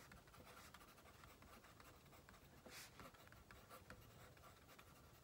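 A pink plastic mechanical pencil, held in the right hand, scratches and writes on the top sheet of a stack of white paper on a wooden table while the left fingertips hold the paper steady. Quiet, dry scratching strokes run continuously over a low background hum, with a few brighter, louder strokes standing out.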